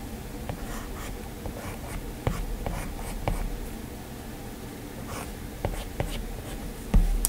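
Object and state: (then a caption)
Stylus on glass tablet screen. A hand draws with a plastic stylus (Apple Pencil) on the glass screen of a flat, solid iPad. Soft continuous scratching strokes run throughout, with crisp, short tapping clicks where the stylus tip meets the glass. The sound stays mostly low and muted, with faint high scratchy hiss along the strokes.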